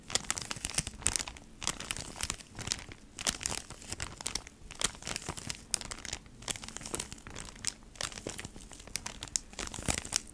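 A flat beeswax wrap pack, a cardboard package in a plastic sleeve, is tapped and scratched by long nails. Dense, bright crinkling of the plastic mixes with sharp, quick taps and scratches that sound dry with almost no ring.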